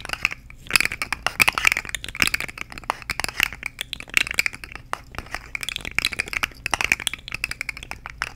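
A purple and orange plastic articulated fidget slug with hollow jointed segments is held in both hands, shaken and clicked while long nails tap along its ridges. The result is a dense, rapid stream of sharp, bright plastic clicks and light rattles, with energy centred around 2.6 kHz and almost no low end.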